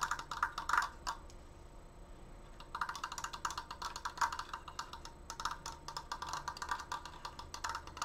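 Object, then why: Wooden slatted triangular frame. Long nails rapidly tap the outer slats of a large, stained wooden Triforce frame, a triangular frame built from wooden slats. The dry, clicky wooden taps center around 1.4 kHz with bright edges and die away almost at once. A burst of quick taps is followed by a short pause of about 1.5 seconds, then a longer run of fast tapping.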